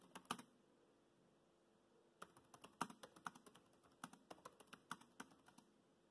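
Fingertips type steadily on the black plastic chiclet keys of a dark grey laptop keyboard, producing quiet, short, bright clicks with almost no ring. A quick burst of keystrokes is followed by a pause of nearly two seconds, then a longer, uneven run of taps.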